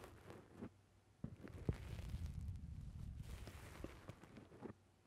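Fingertips press down on and squeeze a black rounded foam windscreen on a microphone, producing soft, muffled low thumps and a dense rumbling crackle concentrated in the deep bass. The squeezing comes in irregular bursts with brief quiet gaps between them.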